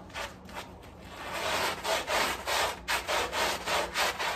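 A gloved hand vigorously scrubs a small, wet, soapy, muddy fabric rug lying on tile with a handheld bristle scrub brush. It makes rhythmic, broadband swishing, rubbing strokes with a bright, wet texture that starts soft and builds into steady, evenly spaced back-and-forth scrubs.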